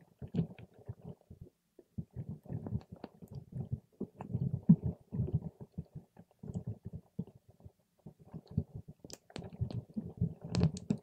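A paper straw pokes and stirs a clear plastic cup full of purple water gel beads. Soft, low, squelchy bursts come in quick clusters with short pauses, and occasional bright clicks cut through near the end. The sound is wet and muffled, and each burst dies away almost at once.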